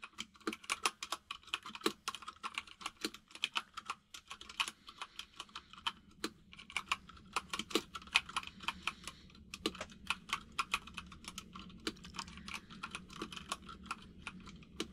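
Fingertips of both hands type continuously on a compact mechanical keyboard with white and grey plastic keycaps. The result is a steady, dense stream of short, bright clicking taps centred around 2.5 kHz, each dying away almost instantly, with occasional louder keystrokes over a faint low background.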